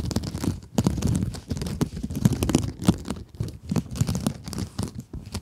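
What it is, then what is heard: Mesh scrub sponge scratched with nails. Long acrylic nails scratch across a small pink scrub sponge with a sparkly glitter mesh surface. The result is a steady run of short, dry, crinkly scratching and crunching strokes, with most of the weight in the low range and quick bright flicks on each stroke.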